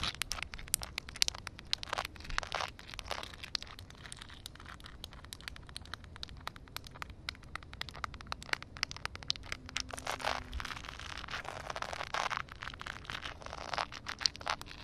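Long dark red nails scratch and tap a solid, flat concrete surface covered with a thin layer of water. The result is a dense run of quick, sharp clicks and bright, crackly scratching over a faint low rumble, with no ringing after each touch.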